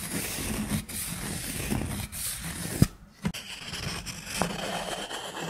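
Long nails scratch and tap the face of a thick, round, solid cork coaster held in the hand. A steady, dry scratching rustle is broken by a few sharp, short taps and a brief near-silent pause midway before the scratching resumes.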